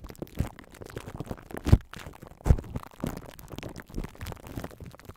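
Clear plastic cling wrap stretched over a metal mesh microphone grille is squeezed, rubbed and scratched by two hands with long nails. It makes a steady, irregular crinkling and scratching, heavy in the low end with almost no bright content. Two louder, deeper thumps stand out in the first half.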